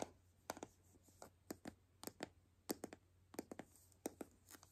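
A palm-sized hollow white plastic toy capsule ball, held in both hands, is scratched and tapped with long nails along its seams. Quiet, short, clicky taps with a mid-pitched plastic tone come in irregular clusters over a faint low hum, with brief scratchy textures in between.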